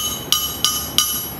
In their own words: But if you hear that ringing noise on that thing, that's a good crank. It has a sound.